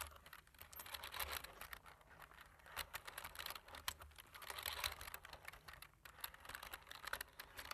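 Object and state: Plastic computer keyboard being typed on.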